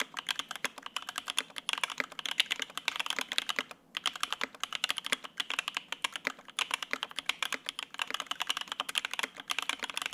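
Continuous two-handed fingertip typing on a Lin Works Whale 75, a 75% mechanical keyboard with white and grey ABS keycaps, a polycarbonate (PC) plate and lubed Opblack linear switches, resting on a desk mat. A rapid, steady stream of short, crisp keystrokes carries a bright clack centered around 3 kHz, each dying away almost instantly. A brief pause comes near the four-second mark before the typing resumes at the same pace.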